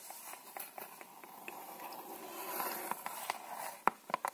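A small red-and-white Dal Negro cardboard box of playing cards, likely full of cards, is held in one hand and tapped and scratched with long manicured nails. Quiet, dry, irregular clicks with a hollow midrange knock sit over a soft, bright scratching hiss. Each tap dies away at once, and the last few are sharper and louder.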